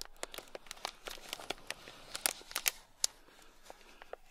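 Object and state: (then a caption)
Plastic bag packed with small beads. A thin black stick scratches across a small sealed clear plastic bag packed full of tiny gold beads. It makes a quick, irregular run of crisp, bright crinkling and scratching ticks that stop dead, with no ring, over a soft rustling bed.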